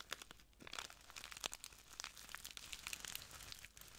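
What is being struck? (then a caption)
Small plastic bag of clear granules. A small clear plastic bag full of translucent granules is crinkled and squeezed between the fingertips of both hands. Dense, bright crackling and crinkling comes in quick overlapping bursts with sharp high ticks and almost no low end, all at a soft, close level.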